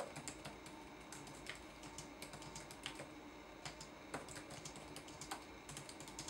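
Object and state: Plastic laptop keyboard being typed on.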